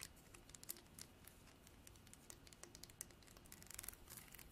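Long nails strum the fine teeth of a translucent amber comb, probably horn, held in both hands. The result is a quiet, rapid run of crisp, bright ticks and scratchy clicks that die away instantly, over a faint low hum.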